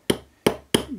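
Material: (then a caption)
Steel. A steel ball bearing is tapped into a brushless motor housing using an old bearing as a drift, giving four sharp metallic taps with quick decays. The sharp bang indicates the bearing is fully seated and sitting flush in the housing.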